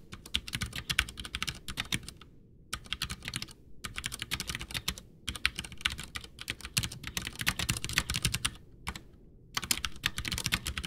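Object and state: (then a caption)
Plastic mechanical keyboard being typed on. Both hands type with their fingertips on a full-size white plastic mechanical keyboard (Ducky One 2, Cherry MX Brown switches), backlit with a hollow case, resting on a desk. Keys are pressed and tapped in quick, bright clacking bursts with a low thocky undertone. The bursts are broken by a few short pauses.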